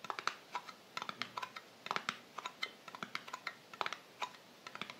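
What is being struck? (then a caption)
Small metal cream tin lid. Long painted nails tap rapidly and irregularly on the printed metal lid of a small, closed, round Balea Pflegecreme tin held in both hands. The taps are quiet, sharp, bright clicks with a faint tinny ping, and each dies away almost at once.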